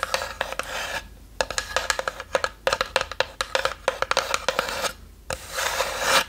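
Long nails scratch the lid of a small, hollow, light-wood box with a brass latch that sits slightly open. Raspy scraping strokes alternate with many sharp, short taps, each giving a brief hollow ring around 500 Hz.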